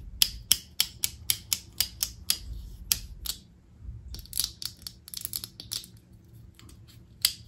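Long acrylic nails tap, click and scratch the hollow casing of a small black hard-plastic rocker switch on a lamp cord, held in the hand. About a dozen sharp, bright clicks come in a steady run, followed after a short pause by a looser flurry of quicker taps and scratches and one final click. Each click is dry and dies away almost instantly, with little low end.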